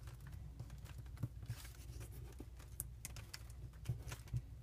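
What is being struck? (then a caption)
Thin origami paper sheet. A single thin, patterned green origami paper sheet is folded into a triangular unit, then creased and rubbed with fingertips, while other folded units lie untouched nearby. Soft papery rustles and brief, bright crinkles and scratches come in quick, short bursts over a steady low hum.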